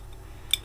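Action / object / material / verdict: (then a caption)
tap / head torch lens tapped against teeth / glass / real. The clear lens over the controls of a digital head torch is tapped against teeth to check whether it is glass or plastic, giving a short, bright click with a high ringing tone around 3.5 kHz over a low hum. The lens is genuine glass.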